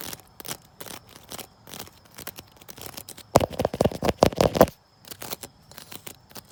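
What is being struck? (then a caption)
Wicker chair. A wicker chair is scratched outdoors with quick, dry, papery strokes that build up to tapping on it. A louder cluster of sharp taps with a mid-range woody knock comes in the middle before the softer scratching resumes.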